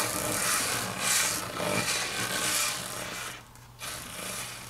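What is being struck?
Laminate tabletop.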